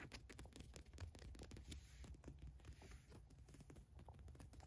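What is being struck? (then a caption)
Cotton t-shirt with printed logo. Long nails scratch rapidly across the large white logo print on a black Adidas cotton t-shirt lying flat. The result is a quiet, continuous run of dry, crackly scrapes, each short and clipped, over a soft low rumble of the fabric.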